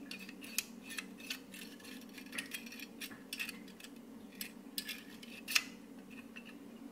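A hand-held plier-type stapler with a black handle and chrome metal jaws is held in both hands and tapped and scratched with short purple fingernails, making its metal parts click. Quick, bright, dry clicks and taps with almost no ring stand out above a soft scratching texture, with the loudest snap near the end. A faint steady low hum sits underneath throughout.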